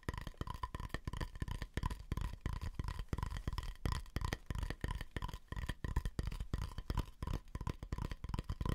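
Fingertips and nails tap and scratch the outer surface of a medium, round, hollow wooden bowl held upside down near the face. Quick, irregular taps land at about three per second, giving short, dry, low thuds with almost no ring, mixed with soft scratchy rustle and a faint mid tone. The result is a quiet, close, steady stream of hollow tapping.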